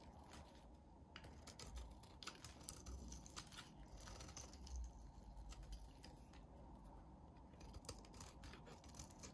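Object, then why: Soap bar shaved with a blade. A solid, hand-sized bar of soap with a yellow core and red rim is held in the hand and shaved with a utility blade. Quiet, steady crisp scraping and crackling fill the clip, with sharp bright clicks and ticks as thin slivers shear off, over a low dull rumble.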